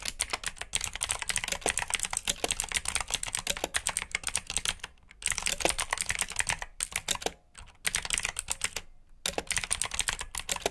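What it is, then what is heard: Mechanical keyboard with clicky blue switches. Fast typing on a black plastic RGB mechanical keyboard with blue switches, fingertips pressing the keycaps in dense bursts of sharp, bright clicks. The clatter pauses briefly a few times before resuming at the same quick pace.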